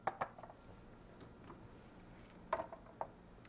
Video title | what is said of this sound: How To Dehydrate Food At Home | you can really hear how they're rattling